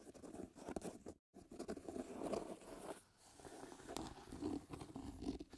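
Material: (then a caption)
Leather. Fingertips and nails scratch and rub the leather upper of a hollow, empty black leather lace-up shoe with dried glue streaks on its side, held up by hand. Quiet, dry, crackly scratching and rubbing comes in uneven bursts, with a short full silence near the start and a brief lull midway.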